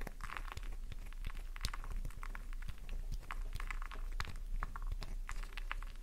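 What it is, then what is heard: Bar soap scratched with nails. A solid pink flower-shaped bar of soap rests in the palm and is scratched with long nail tips, scraping off shavings. Dense, crisp scratching and crunching clicks run steadily for about six seconds over a low, steady hum.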